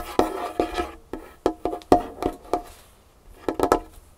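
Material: Wood.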